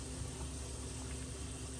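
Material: Nothing is struck.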